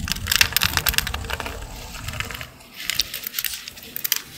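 A small utility blade with a green handle carves and scrapes a dry, solid green Old Spice bar soap held in the hand, shaving off powdery flakes. Dense, crisp, bright scraping crackles with quick ticks come in rapid bursts. They briefly pause around the middle before another run of sharp scrapes.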